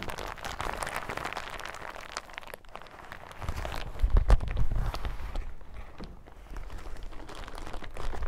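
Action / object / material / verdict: scrape / plastic hazmat suit / plastic / none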